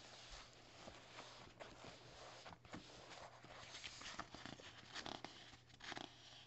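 Fingertips and short nails scratch and tap across the thin printed pages of an open paperback novel lying flat. A soft, steady papery scratching fills the clip, broken by irregular light, crisp taps that die away almost at once.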